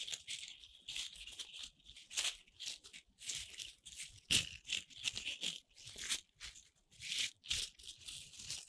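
Fingers with long red nails rub and crunch a pile of small, colorful corn starch foam playcorn pieces held in cupped hands. The result is a string of dry, bright, crinkly rustles and squeaky crunches that come in short bursts with brief pauses between them. There is almost no low end.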